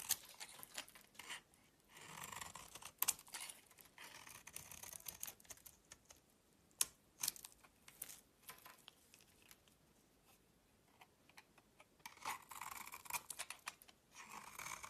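A utility knife blade scrapes flakes off a solid rectangular pink soap bar with a pink rim and a cream interior, held in the hand. Quiet, bright, crisp scraping and crackling bursts come in uneven runs, broken by brief pauses and a few sharp clicks, with almost no low end. Thin flakes shave away from the bar with each stroke.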